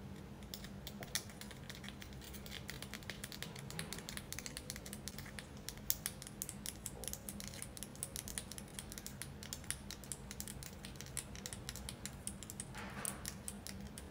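A palm-sized, solid white tiered selenite tower is held up and tapped with long acrylic nails. Fast, continuous clicking taps sound bright and sharp over a steady low hum, with a brief louder scratchy swell near the end.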